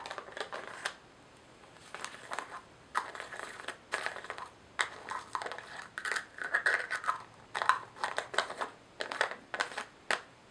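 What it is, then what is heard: Plastic screw-lid jar. A small, hollow white plastic jar with a white screw-on lid is held in the hands and tapped and scratched with long manicured nails. Bursts of dry, crinkly scratching and quick clicky taps come in uneven clusters separated by short pauses. The sound is centered in the mids with no low end, and each sound stops almost immediately.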